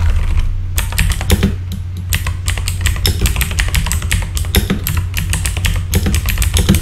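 Fingertips of both hands type rapidly on a full-size backlit mechanical keyboard with plastic keycaps. Dense, bright clicks and clacks tumble over one another in quick bursts, with brief pauses in between. A steady low hum sits underneath throughout.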